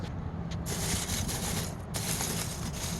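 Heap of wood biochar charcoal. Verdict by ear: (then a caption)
Fully cooked. Freshly made wood biochar charcoal, just out of the kiln with its unstable carbon cooked out, is stirred and shifted in a heap. It gives a continuous crackling, glassy scraping rattle over a low rumble. The sound marks fully cooked, pure charcoal.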